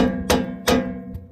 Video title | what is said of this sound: Master Mechanic Tips to find suspension noise in cars and trucks | it doesn't move when you pry on it, but when you hit it with hammer, it's got play